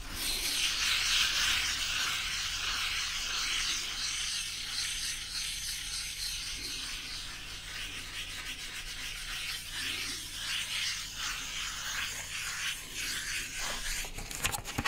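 A flat, thin brown cardboard piece held in one hand is scratched and rubbed with the fingers and nails of the other hand close to the microphone. A steady, dry, bright scratching hiss is heard, pulsing in quick strokes about three times per second over a faint low hum. A few sharp crackling ticks come near the end.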